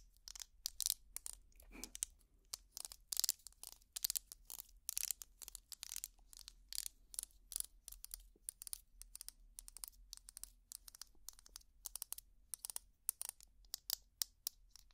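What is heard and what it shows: Long plastic finger picks scratch the ridges of a small purple ridged plastic tangle toy held in one hand. The result is a quiet, steady stream of rapid, bright, crackly scratches and clicks, each cutting off almost instantly with no ring.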